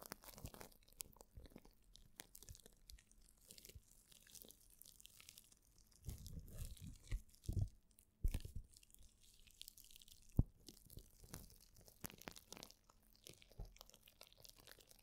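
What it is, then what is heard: Plastic bubble wrap sheet. A thin sheet of plastic bubble wrap is held in front of the microphone with both hands while painted nails scratch and crinkle it. The result is dense, soft crackling and rustling with fast scratchy ticks. Louder, fuller crinkling bursts come around the middle, with a few sharp pops standing out.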